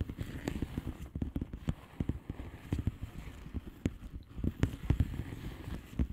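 Long fingernails on both hands tap across the bubbles of a flat blue plastic bubble wrap envelope. The taps are soft, dull and quick, coming in an uneven, rapid patter. Their thuddy sound is mostly low with almost no brightness, and each one dies away almost instantly.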